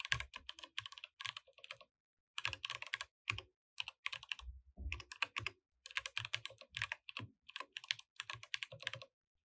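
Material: Plastic.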